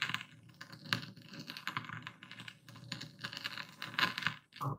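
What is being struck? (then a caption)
Epsom salt crystals ground in a wooden bowl with a stone pestle. A dark speckled stone pestle, held upright and tilted, grinds and crushes coarse white epsom salt in a full wooden bowl. It makes a dense run of bright, crunchy crackles and gritty clicks with irregular louder bursts, and each crack dies out almost instantly. A brief pause comes just before the end, followed by a final short, heavier grind.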